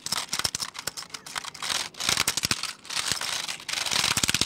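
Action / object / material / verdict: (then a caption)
tap / plastic computer keyboard / plastic / none. Fingertips type quickly on a black plastic computer keyboard held at the shoulder, producing rapid, bright, dry clicks and clatter in dense bursts separated by brief pauses. The keystrokes are sharp with almost no ring, and the sound is mostly high-pitched with little low end.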